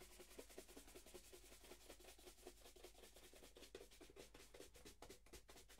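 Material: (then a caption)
Leather. A wooden-backed bristle shoe brush is swept back and forth over a single hollow black leather dress shoe held in the other hand. The result is a quiet, rapid series of dry, scratchy brushing strokes with a bright bristly hiss and a faint hollow mid-range thump from the shoe, in a loose, slightly uneven rhythm.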